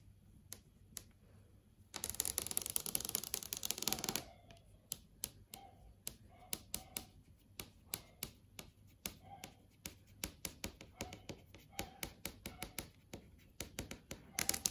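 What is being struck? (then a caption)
Flat LCD TV screen. Long acrylic nails tap and trace across a large flat LCD TV screen, moving over text and thumbnails. A dense burst of rapid, bright clicking and scratching runs for about two seconds, then gives way to dozens of separate, sharp, high-pitched taps with almost no ring.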